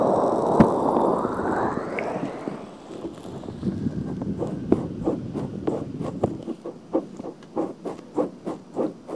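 Long painted fingernails scratch and rub the outer ear of a hand-sized pink soft silicone ear cover with a hollow ear canal, mounted on a black binaural microphone. A loud, broad rubbing hiss opens the clip, then fades into quieter scraping. It ends in a quick, fairly regular series of short, crisp scratch strokes.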